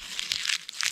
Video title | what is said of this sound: TE ATUALIZO: HOJE TEM COLHEITA NAS HORTAS DO SÍTIO@nerdnaroca | você lembra o americano, hein? Lembra. Ele é crocante.